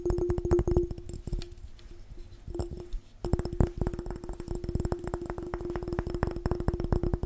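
A glass jar is tapped fast and aggressively in rapid bursts of short, dry clicks, with a faint steady ringing tone underneath. The tapping thins to a few scattered taps midway, then resumes in a dense, even stream until the end.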